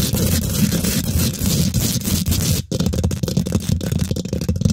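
Long nails and fingertips of both hands quickly scratch and tap the domed, hollow woven metal mesh grille of a large silver condenser microphone. The result is a dense, continuous rasping scrape full of rapid taps, heavy in low thuds with a bright gritty edge. The sound drops out briefly near the middle before resuming.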